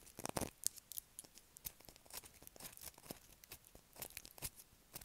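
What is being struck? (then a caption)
Soap bar scratched with fingernails. Long acrylic nails scratch across a solid blue bar of soap with a grooved surface, held in the hand. The sound is a quiet, rapid run of short, dry, crisp scratches and clicks, mostly bright and high with little low end, each stopping almost instantly.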